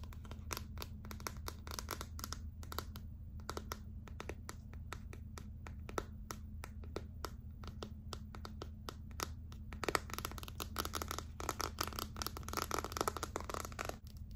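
Long acrylic nails scratch along the back and edges of a gold glitter clear plastic phone case held upright. Rapid, crisp scratching clicks and scrapes run throughout over a steady low hum, growing denser and louder in the second half.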